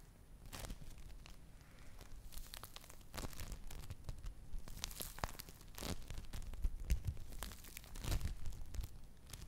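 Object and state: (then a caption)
Play foam (foam bead clay) being squeezed. A soft, beaded lump of yellow play foam (foam bead clay) is squeezed and pulled apart between fingers with long nails. It gives a steady run of irregular crackling, tearing and crunching snaps over a low, muffled rumble, with bright, sharp clicks that come and go throughout.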